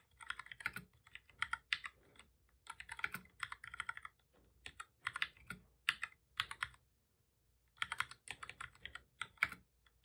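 Both hands type steadily with their fingertips on a full-size black plastic computer keyboard with a hollow body, resting on a desk. Quick, bright, clicky key taps come in bursts separated by brief pauses. Each tap dies away almost instantly, and there's hardly any low-end thump.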